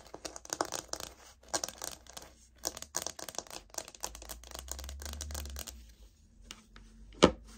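A light oak laminate floor sample, a solid flat plank, is handled and tapped with long nails, giving quick bursts of dry, bright clicks and scratchy rustling with short pauses between them. A steadier low rumble runs underneath for a moment before the plank is turned edge-on, ending in one loud, sharp knock.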